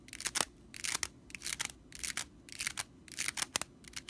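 Long nails scratch quickly across the bristles of a stitched straw whisk broom, making dry, bright, crackling rasps. The strokes come in irregular short bursts, mostly high in tone with almost no low end.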